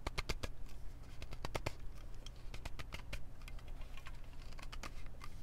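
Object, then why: Aluminum drink can. A standard-size Mountain Dew aluminum drink can, gripped in both hands, is tapped and scratched with long nails and fingertips. Quick, bright, sharp clicks and ticks follow one another in an uneven patter, each dying away almost at once. A steady low hum runs underneath throughout.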